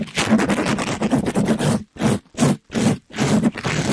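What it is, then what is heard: Mesh scrub sponge rubbed on a microphone. A soft, compressible pink glittery mesh-covered sponge, held in a gloved hand, is rubbed quickly across the top and side of a microphone. It makes rough, fast, close scratching and brushing sounds with a low-mid body. A steady stretch of rubbing is followed by short bursts separated by brief silences.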